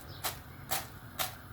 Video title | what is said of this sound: ARADIĞINIZ TARİFİ ‼️DEĞERLİ TAKİPÇİLERİM İÇİN HAZIRLADIM. BU TARİFİM KAÇMAZ. | duyuyor musunuz sesi? Bakın. Nasıl? Çıtır çıtır.